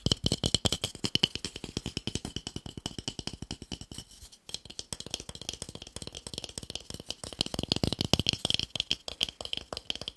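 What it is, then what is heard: Wooden block. A small, solid, pale wooden cube held in one hand is tapped quickly with fingertips and short nails. It gives a fast, steady stream of dry, bright clicks with no ring, pausing briefly around the four-second mark before picking up again.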